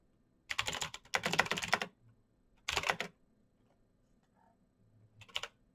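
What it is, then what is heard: Plastic mechanical keyboard. Fingertips type fast on a black Razer BlackWidow mechanical keyboard with plastic keycaps on clicky green switches. The clicks come in four bursts of rapid typing: two longer runs, a shorter run, and a brief final flurry. Each click is bright and sharp and stops at once, with quiet gaps between the bursts.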